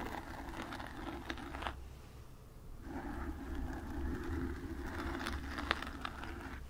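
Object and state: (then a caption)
Foam microphone windscreen being scratched. Long nails rapidly scratch the foam sides of a black foam windscreen on a desk microphone. The result is a dense, crackly scraping rustle over a steady low rumble, with a few brief bright clicks. The scratching eases into a quieter gap about a second long before resuming.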